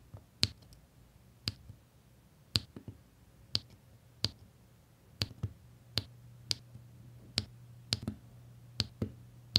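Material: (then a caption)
Resin. A plastic drill pen tip repeatedly presses small solid resin diamond painting drills onto a flat printed adhesive canvas, making about a dozen short, bright click-like taps at irregular intervals. Each tap is crisp and dies away almost instantly, over a faint steady low hum.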